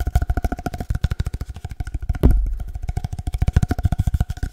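Fingertips tap quickly on an empty, hollow cardboard paper-towel roll held in both hands, giving about thirty short, deep, hollow thumps with a faint resonant ring. A heavier, rumbling knock breaks in around the middle before the fast, uneven tapping resumes.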